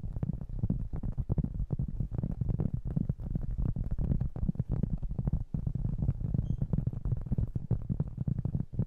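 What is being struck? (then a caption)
Round cork trivet. A round, flat, solid cork trivet about 20 cm across is held in both hands and tapped and scratched with fingertips and short nails. It gives a steady stream of soft, dull, low thuds with very short, dry decay, mixed with a faint scratchy rustle.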